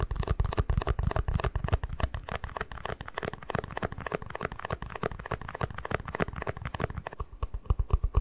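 An empty, small hollow white plastic cup is held in both hands while fingertips tap and scratch its sides. The result is a dense, irregular stream of quick, dull, low-heavy taps with short clicky attacks and almost no ring, mixed with faint scratchy rustling.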